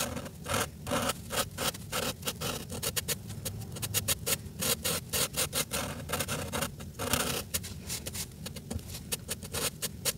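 A red felt-tip marker, held in the fingertips, scratches and rubs back and forth across a flat sheet of paper in a coloring book while filling in Santa's coat. The strokes come as rapid, closely spaced bursts of dry, bright, raspy friction over a soft low rustle. The steady scribbling continues for the whole clip.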